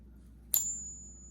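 A counterfeit silver coin is pinged once, giving a bright, thin ring that fades within a fraction of a second. The tone sounds wrong, and the coin is judged fake by ear.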